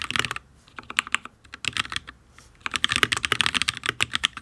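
Fingertips of both hands type on a full-size HyperX Alloy Origins RGB mechanical keyboard with Fire switches and ABS keycaps on a steel plate, which sounds solid. About 21 bright, crisp, dry clacks come in quick bursts with short pauses, and the fastest, densest run is at the end.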